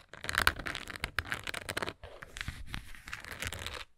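Long nails tap and scratch the front and sides of a textured plastic Tums tablet bottle with a paper label and a blue lid, hollow with tablets inside. Dense, crinkly scratching bursts with sharp taps sound loudest in the first two seconds, then after a brief pause continue more softly with a bright, papery rasp.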